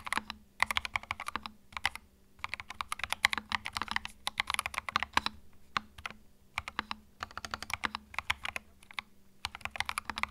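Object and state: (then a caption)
Plastic mechanical keyboard being typed on. Fingertips type on a small white 65% mechanical keyboard with plastic keycaps and a hollow plastic case, resting on a felt mat. Bursts of quick, bright, clacky keystrokes come with brief pauses between runs. Each tap is sharp and dry, with no ring after it.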